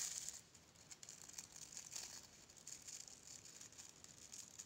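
Long painted fingernails scratch and rub across the rows of soft plastic bristles on a small, solid, pink plastic brush held in one hand. The result is a quiet, bright, crinkly scratching made of dense rapid ticks, loudest in the first moment and then continuing at a steady, softer level with almost no low end.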